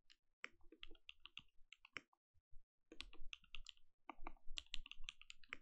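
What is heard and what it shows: A compact mechanical keyboard with plastic keycaps is typed on with the fingertips of both hands. Quick, irregular clacks with bright tops and a low, dull body come in bursts, pause briefly partway through, then resume faster. Each keystroke stops short with almost no ring.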